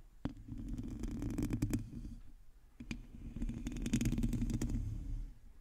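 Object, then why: Metal mesh microphone grille. Long teal nails of both hands scratch a hollow, domed metal mesh microphone grille. The result is a dense, low, rumbling scrape with a hum near 230 Hz and scattered sharp clicks. There are two sustained bursts of scratching with a brief lull between them.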